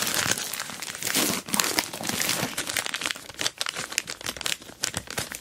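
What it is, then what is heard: Plastic mailer bag over a box. An orange plastic Temu mailer bag wraps a boxed dual-camera dash cam while hands grip its sides and a long nail taps and scratches the crinkly plastic. The result is a dense run of bright, dry crinkling and scratching with quick taps, mostly high in tone with almost no low end.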